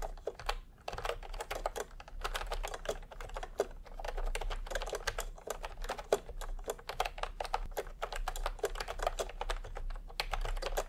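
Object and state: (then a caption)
Plastic keyboard being typed on. Fingertips type fast on a full-size plastic retro computer keyboard with round pastel typewriter-style keycaps and a hollow body, resting on a white cloth. The sound is a steady stream of short, hollow plastic clacks with a midrange body and little ring, over a faint low hum.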